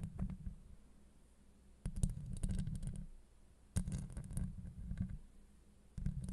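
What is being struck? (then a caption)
Steel mesh microphone grille. Long acrylic nails on both hands scratch and tap a hollow steel mesh microphone grille. The result is deep, muffled rumbling scrapes with sharp clicks, coming in bursts that swell and fade between quieter gaps. Almost all of the sound sits in the low bass.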